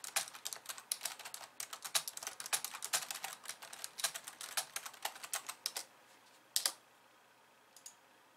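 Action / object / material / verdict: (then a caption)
tap / plastic computer keyboard keys / plastic / none. Long nails type on the plastic keys of a compact pink and white plastic computer keyboard, at times with only one hand. A quick, steady run of bright, crisp clicks with almost no low end lasts until nearly six seconds. After a short pause come a loud double click and then a few faint taps near the end.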